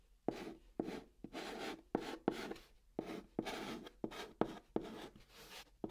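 Fingertips hold a white chalk stick and write Korean letters on the large, flat brown surface of a hollow cardboard box. Each short, sharp tap of the chalk tip is followed by a dry, scratchy rasp that is brighter in the upper range. The strokes come in a steady series separated by brief pauses.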